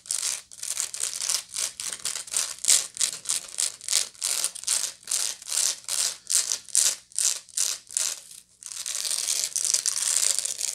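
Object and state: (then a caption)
Woven straw bag scratched with nails. Long nails scratch the woven side of a medium, hollow woven straw bag held near the face. Bright, dry, raspy strokes come in quick, uneven bursts, then merge into a steady, continuous scratch for the last couple of seconds.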